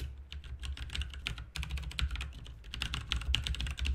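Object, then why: Plastic mechanical keyboard. Fingertips of both hands type rapidly on a full-size backlit RGB mechanical keyboard with plastic keycaps. The result is a dense, continuous stream of short, bright plastic clicks and clacks with almost no ring, over a steady low rumble.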